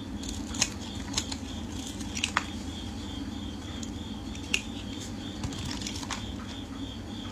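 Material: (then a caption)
Soap. A solid, hand-sized white round bar of soap with a pink rim is held in hands wearing pink finger cots while a metal utility blade scrapes and shaves its face into flakes. Soft, dry scraping runs throughout, broken by short, crisp clicks and snaps, with a faint steady high tone underneath.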